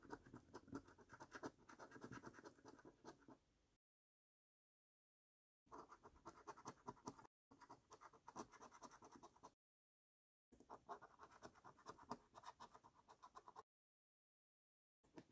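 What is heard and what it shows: A coin scratches the latex coating off a flat, thin cardboard £15 Luxury Lines National Lottery paper scratch card. Quiet, rapid, gritty scraping comes in bursts separated by silent pauses, with a dense rasp concentrated in the midrange.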